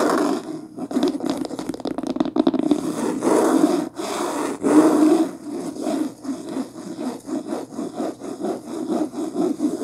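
Long fingernails scratch fast across the front cover of a beige linen cloth-covered hardcover book lying flat on a blanket. The result is a dense, rasping scrape made of quick, uneven strokes with a mid-range tone and almost no deep bass or sharp highs.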